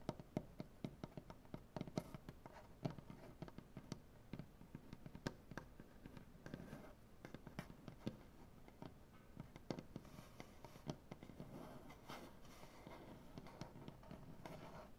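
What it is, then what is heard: Wooden butcher block table. Fingernails from both hands tap and scratch across a solid light wood butcher block tabletop, producing quick, dry, low-pitched knocks with short rings. The taps are interspersed with soft scraping, and the scratching thickens toward the end.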